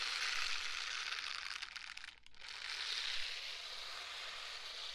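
A pair of pink silicone scrubber gloves worn on both hands, with the palms and fingers rubbed and squeezed against each other beside the mic without touching it. This makes a steady, dense, bright crinkling and crunching texture. It briefly drops to near silence just past the two-second mark, then swells back to a continuous rubbing hiss.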